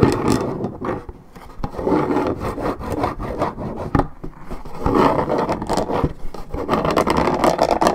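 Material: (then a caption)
Paperboard. Long red nails scratch the top surface of a hollow Minute Maid orange juice carton made of coated paperboard. The result is a dense, continuous rubbing and rasping with a mid-range body and little high brightness, broken by brief sharp ticks.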